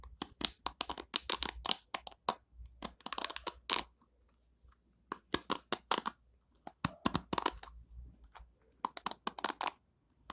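Long painted nails scratch and strum the white plastic pin bristles of an oval plastic hairbrush, making quick, bright, clicky taps like a keyboard. The clicks come in dense bursts with short silent gaps between them, and each one dies away almost at once.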